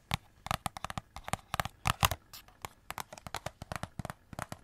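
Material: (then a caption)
Cardboard. Long nails scratch along a hollow cardboard Christmas cracker, wrapped in glitter paper and silver foil and held close to the mic. About two dozen quick, dry, crinkly rasps come in an uneven rhythm, each a broadband burst reaching from a low thump up into bright, papery highs. Each stops almost instantly with no ring.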